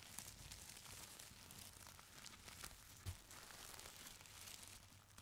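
Fingertips and nails press, squeeze and scratch a folded stack of thin purple tissue paper. Soft, continuous crinkling and rustling with bright texture and a faint low rumble underneath, one slightly louder crunch near the three-second mark.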